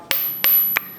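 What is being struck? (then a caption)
Forged steel anvil. A forged anvil, a church window variant with a French layout, is struck three times. Each strike gives a sharp, high-pitched ring centered around 2.4 kHz that fades quickly.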